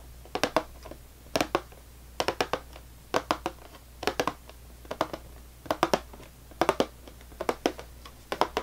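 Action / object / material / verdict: tap / cardboard cracker box / cardboard / none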